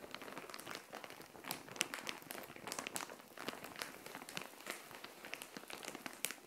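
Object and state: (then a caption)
Plastic mailer bag. A plastic Shein mailer bag filled with green clothing, resting on a tile floor, is tapped and scratched with long nails. The result is a steady stream of bright crinkling and soft ticking taps, with almost no low end.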